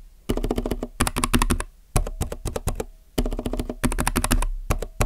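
Fingertips type on a compact mechanical keyboard with plastic keycaps, producing quick bursts of clacky keystrokes. They come in several groups separated by brief pauses, each keypress a short, deep thock with a tight decay.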